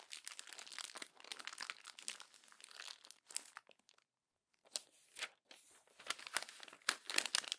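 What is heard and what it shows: The pages of an open glossy paper magazine are crumpled, rubbed and pressed with fingertips and long nails, giving dense, bright crinkling and crackling bursts. The noise stops briefly near the middle, then returns in sharper, louder crackles.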